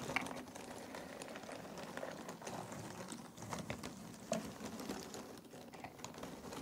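Fingers rake and stir through a pile of cardboard jigsaw puzzle pieces in a box. It makes a steady, quiet rustle of dense, overlapping clicks and scrapes, with a few brighter, sharper clacks standing out along the way.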